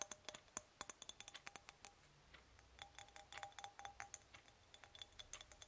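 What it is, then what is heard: Titanium antistress egg. A small, hollow, polished titanium antistress egg is held and twisted between the fingers, producing a rapid series of sharp, bright, metallic clicks that die away almost instantly. It is then set down and spun on a linen cloth, with more quiet, high-pitched ticks continuing over a soft low hum.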